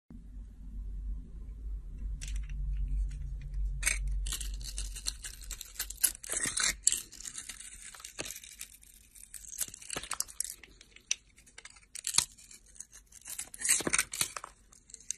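A box-cutter blade shaves and scrapes thin slices off a palm-sized solid bar of soap with a blue glitter coating and a white interior, held in one hand. After a low rumble in the opening seconds, crisp, bright scraping and tearing sounds come in irregular bursts, with sharp crunchy peaks between quieter passes.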